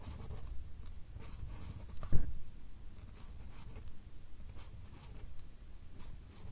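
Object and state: Paper card stack being drawn on.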